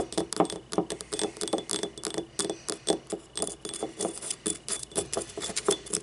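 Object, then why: Small ribbed ceramic cup. A small, hollow, yellow ribbed ceramic paint cup held on its side is tapped with long nails in a quick, steady run of about thirty taps. Each tap is a short, bright, glassy clink with a hollow note near 400 Hz that dies away almost at once.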